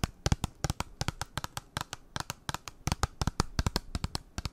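A small, flat, hollow pink printed cardboard b.colour eyeshadow palette box is held up in front of the microphone and rapidly tapped and scratched with long nails. The result is a quick, irregular stream of about 27 dry, sharp clicks with a low hollow thump and bright ticking edges, each dying away almost instantly, much like typing.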